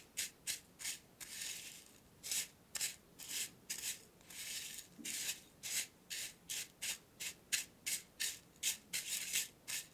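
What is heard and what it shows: Fingertips with short nails rub and scratch across loose dry black tea leaves filling a small, open, square purple-rimmed metal tin held steady in the other hand. The result is a series of short, bright, crackly rustles with a few longer smoother rubs between them, almost entirely high-pitched with no low end.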